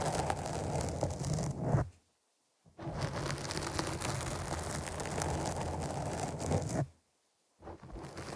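Long nails scratch the top and side of a black foam windscreen on a microphone, producing a dense, crackly scraping with strong low rumble. The scratching runs in two long stretches, broken by brief full silences near 2 and 7 seconds.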